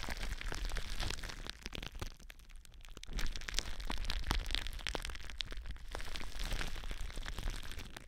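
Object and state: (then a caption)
Plastic bubble wrap. Long blue nails scratch and press clear, air-filled plastic bubble wrap wrapped around a microphone, using both hands. The result is dense, irregular crackling with sharp bright snaps and crinkles over a low, muffled rumble. There is a quieter stretch around the two-to-three-second mark before the crackling picks back up.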